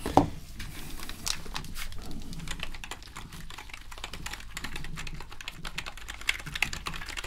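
Gloved fingers press and tap the keys of a full-size black plastic membrane gaming keyboard with a hollow casing, held up in the air. A steady stream of quick, bright plastic clicks and clacks runs throughout, each dying away almost at once, over a low hollow rumble. A sharper tap stands out at the very start.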